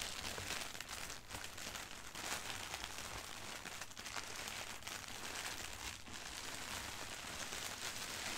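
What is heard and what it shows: Fingertips and long nails rub and scratch across a flat, thin sheet of white printed tissue wrapping paper. The result is a steady, quiet crinkling and scratchy rustle, bright and hissy, with a faint low hum underneath.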